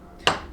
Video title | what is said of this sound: Chrysler Jeep A904 (A998) Rebuild PT2: Final Assembly | It's not like a hollow thwunk, it's more of a flat, just, you know, like, I don't know, one solid object hitting another